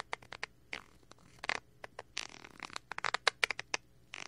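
A thin wooden stick scratches and pokes the crinkly film of a small clear plastic bag package with a cardboard header, held in one hand close to the mic. A quick, irregular series of sharp, bright plastic taps and crackles is heard, with short scratchy crinkling between them. Each tap is dry and dies away almost instantly.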